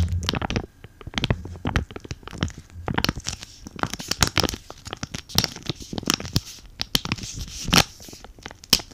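A flat, green, avocado-print sheet mask packet of laminated foil and plastic, still sealed with the mask inside, is held in front of a microphone and crinkled and scratched with fingertips and short nails. Dense, sharp crinkles and scratchy bursts flicker across a bright hiss, with some soft low thumps from handling. The sounds snap off almost instantly with no ring.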